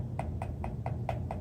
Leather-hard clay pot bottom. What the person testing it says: sounds like you're flicking a basketball or a beach ball. That's when you know it's getting kind of thin